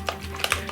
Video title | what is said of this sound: day 6 of 12 days of xmas/winter 2016 | you have to shake it until you hear the ball